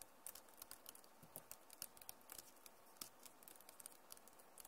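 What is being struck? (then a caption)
Plastic laptop keyboard. Long nails type fast on the keys of a backlit plastic laptop keyboard, producing a rapid, uneven run of short, sharp, high-pitched clicks over a quiet hiss. Each tap is crisp and dies away almost instantly.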